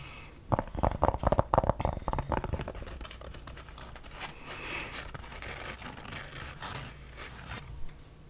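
A black Harley-Davidson trucker cap with an embroidered front panel, worn on the head, is tapped and scratched with long dark-painted nails and fingertips. A quick, uneven run of dull, muffled taps fills the first couple of seconds. It gives way to softer, continuous fabric scratching and rustling, with one last sharper tap near the end.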